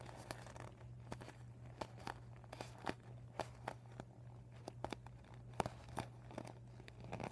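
Fingertips and short nails scratch and crinkle the blue panel of a folded, empty, deflated PVC vinyl beach ball with blue, white and yellow panels. Quiet, dry crackles and sharp little snaps come in quick, irregular bursts over a steady low hum. The texture is soft and crinkly, mostly in the mid range, with brief bright clicks.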